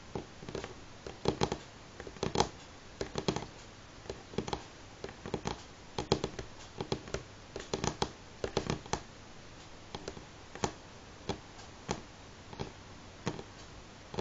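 Fingertips and natural nails of both hands tap on a solid, light pine-grain wooden tabletop in a steady rhythm. The short, dry clicks and knocks decay almost at once, mostly in small rapid clusters with a quiet hiss between them.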